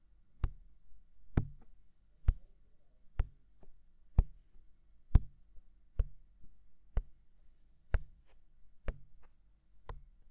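Fingertips tap the hollow, mounted white silicone ear of a binaural microphone. Eleven soft, dull, low thumps land roughly once a second at an uneven pace, each ending instantly with no ring. Fainter taps sit between some of them over a quiet, steady background.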